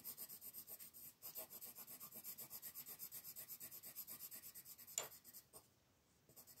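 A blue wooden colored pencil shades the beak on a flat paper coloring page lying on a wooden table, with steady back-and-forth rubbing strokes while the other hand holds the sheet. The strokes make a quiet, bright, scratchy rasp in an even rhythm, with a brief pause near the start and a single sharper tick around five seconds. A short near-silence follows before the rubbing resumes.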